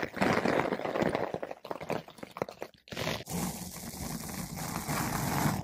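A flat paintbrush with blue synthetic bristles brushes over a large, soft, porous yellow-pink foam ball windscreen fitted over a microphone. Rapid, uneven scratchy strokes make a close, dense rustling with a low muffled thump under a bright hiss. After a brief pause, the brushing settles into a steady, continuous swishing.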